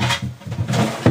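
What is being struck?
Nothing is struck.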